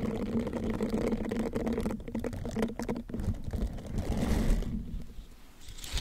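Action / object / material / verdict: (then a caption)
scrape / silicone bristled scrubber / silicone / none. A green silicone bristled scrubber is wrapped over the microphone while fingertips rub and scratch its bristles. This makes a dense, close, low-heavy crackling and rustling with a faint hum-like tone. The sound is steady for most of the clip, then thins out and softens near the end.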